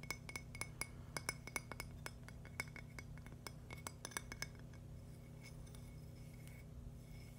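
A thin, solid purple agate slice held in one hand is tapped with fingernails, giving quick, bright glassy clicks with a short high ring. The taps come in a rapid, irregular run, then thin out to softer, sparser ticks over a low steady hum.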